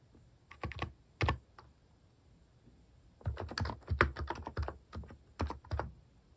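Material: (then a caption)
Plastic. Fingertips type on the plastic keycaps of a mechanical keyboard, producing bursts of quick, clacky keystrokes with a deep, thocky low end. A few scattered presses come first, then after a pause a denser run of typing, with brief gaps between groups of keys.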